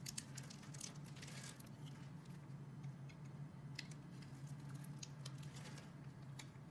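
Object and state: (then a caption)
Green bar soap being carved. A metal box-cutter blade carves into a solid green bar of soap with a scored grid surface, so small cubes crumble off. Soft, dense scraping and crumbly crackles with scattered bright ticks run throughout, over a steady low hum.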